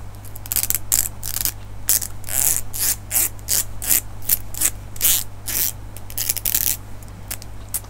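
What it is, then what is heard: Plastic comb teeth flicked. A medium-sized solid black plastic hair comb is held in both hands while fingertips and nails run along and flick its teeth. This makes a series of quick, bright, ratchet-like zipping bursts with short, crisp clicks. A steady low hum runs underneath throughout.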